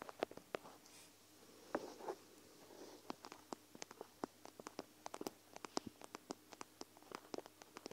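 Long acrylic nails scratch and tap the bead-filled edge of a small, flexible, clear plastic eye mask filled with gel beads, with white fabric trim and plush sides, held over the recorder. A few soft, scratchy rustles give way to a quick, irregular run of crisp, dry plastic clicks and taps. Each tap is short and bright, with almost no ring, over a quiet background.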